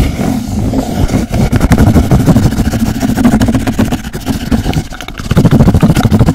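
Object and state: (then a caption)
Hollow cardboard tube, scratched. A hollow, empty brown cardboard roll tube, held near the mic, is scratched fast with fingernails. The rapid, rough scraping booms with a low, hollow resonance and stays loud and dense throughout, dipping briefly near the five-second mark before surging back even louder.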